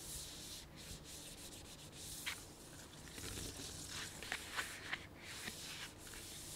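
A full, medium-sized printed plastic sunflower seed bag is rubbed with the fingertips of the whole hand. This gives a steady, bright crinkling scrape broken by several sharper crackles.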